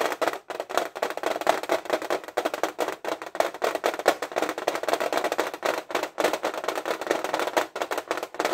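Fingernails tap rapidly on the front lid of a flat, printed metal tin case of 50 Stabilo fineliners, held upright and full of pens. The continuous stream of short, dry clicks has a hollow metallic ring centered in the midrange around 570 Hz, with almost no low end and only a little brightness on top.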